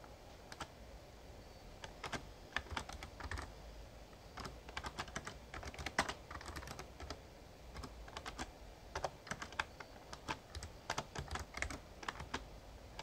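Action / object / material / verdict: tap / plastic membrane keyboard / plastic / none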